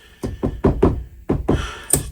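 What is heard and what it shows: Seven knocks on a table during a coins-through-table magic routine, done to show that the table is solid. Each knock is a short, dull, low thump with almost no ring, and the last carries a brief bright click.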